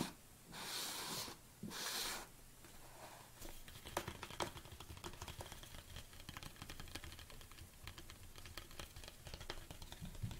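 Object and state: Plastic tub tapped with nails.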